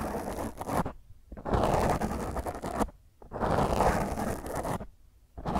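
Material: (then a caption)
Foam. Long grey nails scratch and rake across a black rounded foam windscreen on a microphone. The result is rough, crackly scraping in loud sustained passes that are dense in the low and middle range, separated by brief near-silent pauses.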